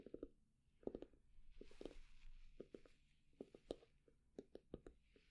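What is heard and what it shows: A wooden candle lid is tapped with quick, dry knocks, slow at first and then at medium speed, in small clusters with a dull low-mid tone. The taps stop almost instantly with no ring, and between them a soft, hissy scratching is heard on the wood.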